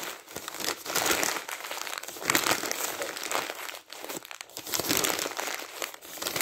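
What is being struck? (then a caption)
Glossy magazine pages. Thin, glossy printed magazine pages lying on a stack of weekly magazines are crumpled and squeezed by the bare fingertips of a ringed hand. The result is a dense, continuous crinkling and crackling that is bright and papery with almost no low end. It swells and dips in waves, with brief lulls between the louder bursts.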